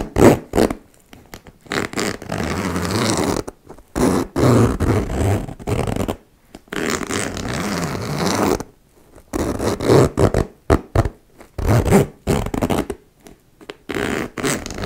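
Long-nailed fingers repeatedly slide the metal zipper of a small turquoise embossed faux leather cosmetic pouch along its metal teeth as the pouch rests on a wooden table. The result is a series of raspy, buzzing zipper runs, some quick and short and others drawn out for about two seconds, separated by brief silences.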